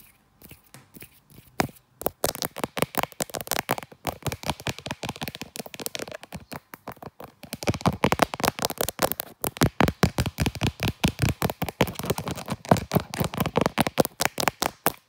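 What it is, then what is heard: Smartphone in leather case tapped with nails. Long black nails and fingertips tap and scratch over a smartphone in a brown leather case and across its camera lens, with fingers held close to the lens. Sparse, dry clicks at first quickly build into a rapid, continuous stream of short, sharp taps and scratchy rustles. The tapping grows louder and denser in the second half.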